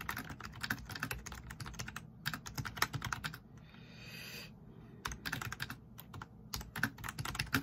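Fingertips tap the keys of a black plastic backlit RGB membrane keyboard at a slower pace, producing soft, short clicks with a bright top and a low thump beneath. The typing runs in bursts, pausing briefly in the middle where only a faint hiss remains, then resumes.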